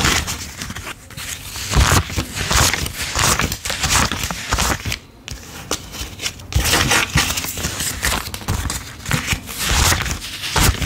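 A wad of worn US $10 paper bills is thumbed through with both hands and dropped onto a pile on a dark table while being counted. Quick papery flicks, crinkles and soft scrapes repeat in a dense run of bright, crisp rustles, with occasional low thumps as the bills land.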